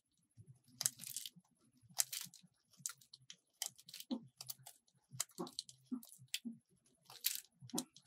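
A metal utility blade carves a small solid purple soap bar, cutting and scraping off strips. Quiet, dry, bright crunchy scrapes come in a quick run of separate bursts, each fading at once with little low end.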